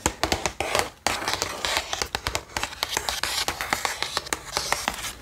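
Long painted nails tap and scratch the surface of a flat, printed cardboard box of 36 watercolor brush pens with a clear window, held up in both hands, the box hollow and full of pens. A quick, uneven run of crisp, bright clicks comes with brief papery scratching in between. Each tap dies away quickly.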